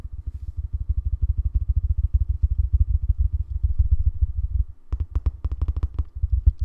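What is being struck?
Rubberized plastic Bluetooth speaker.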